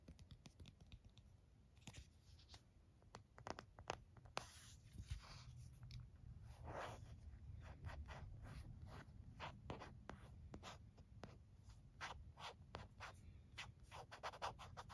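Fingernails scratch along the side edge and button cutout of an empty white plastic phone case, then tap and scratch its printed back. The result is a quick run of sharp, dry clicks and taps mixed with brief, soft scratching over a low, quiet rumble.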